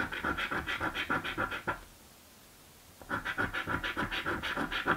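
A coin held in the fingertips scratches the coating off a blue paper scratch lottery ticket resting on a dark table. Quick, rhythmic rasping strokes, about three per second, carry a papery hiss centered near 1.4 kHz with bright edges. They come in two bursts separated by a quiet pause of roughly a second and a half.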